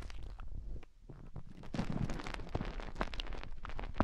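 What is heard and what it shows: Long painted fingernails dig into and scratch inside the ear canals of the soft white silicone ear shapes on both sides of a binaural microphone. The result is a quiet, muffled run of rubbing, crackling scrapes and soft thumps, heavy in low rumble with little brightness. It dips briefly near the one-second mark before building again.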